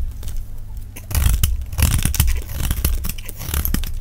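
A solid, larger hand-sized, pink-and-cream rectangular block of dry soap is held in the hand and shaved with a metal utility-knife blade in scraping cuts, with pink chips piling up, played at double speed. Dense, dry scraping and crumbly crackles run continuously over a heavy low rumble, growing louder after the first second. Each cut stops short with no ring.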